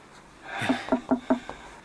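Knuckles knock four times on a wooden wall in a cave, each rap giving a short, hollow-sounding tone around 250 Hz that dies away almost at once. The wall sounds hollow at that spot, with a hollow space behind it.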